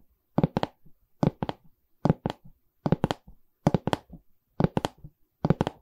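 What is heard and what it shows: Long red nails tap the wooden side bar of a medium, hollow pine canvas stretcher frame with a canvas back. Sixteen short, dry knocks come in quick clusters of two or three, with a warm low body and almost no ring.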